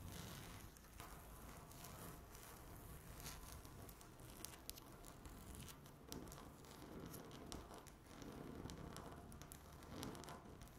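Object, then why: Laminate tabletop. Long natural nail tips tap and scratch across a flat, solid speckled laminate tabletop. The sound is a quiet, steady patter of soft taps and crinkly scraping, with sharp bright ticks and a low rumbling undertone throughout.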